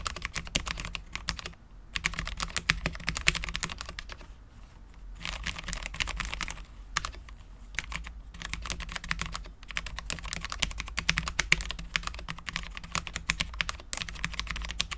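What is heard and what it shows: Both hands type continuously with their fingertips on a full-size, low-profile Cherry MX10.0 mechanical keyboard with Cherry LP switches, dark ABS keycaps and a steel plate. It produces rapid, bright, clacky taps that stop almost instantly, broken by brief pauses near 2, 4.5 and 7 seconds. A faint steady low tone sits beneath the taps.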